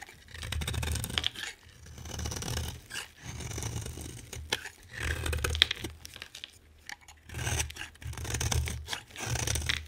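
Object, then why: Bar of soap. A utility knife blade shaves a solid green, hand-sized bar of soap into flakes. Repeated scraping strokes give a crisp, crunchy tearing sound with bright high edges and a low rumble underneath. The strokes come in several separate bursts.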